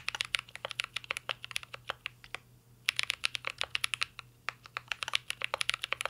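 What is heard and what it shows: Two hands type steadily with their fingertips on a full-size mint-green Cyberboard R3 mechanical keyboard with a metal case, plastic keycaps and Holy Panda switches, resting on a desk. About forty short, bright, clacky keystrokes come in quick succession, each dying away instantly. The typing stops briefly just before the midpoint and then resumes.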